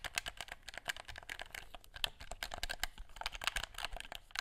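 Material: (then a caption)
Plastic. Fingertips rapidly tap and click the buttons of a black plastic gamepad. A fast, uneven string of short, dry, bright clicks with almost no ring gives a sound much like typing on a keyboard.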